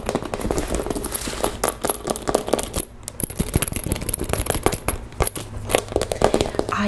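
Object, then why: Clear vinyl cosmetic bag. A pink transparent PVC makeup pouch, a clear vinyl cosmetic bag, lying on a table is squeezed and tapped with long nails and fingertips. Quick, dense taps and sharp clicks mix with crinkly plastic crackles, each hit dying away almost at once. A faint, thin high tone runs steadily underneath.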